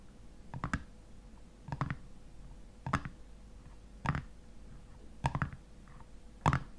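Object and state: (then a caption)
Metal lid of a glass honey jar. Fingernails tap and scratch the top of a black metal screw lid on a hexagonal glass honey jar standing on a table. Six short, clustered bursts of quick clicks and scrapes are heard, each dying away almost instantly, separated by roughly one-second pauses over a faint steady hum.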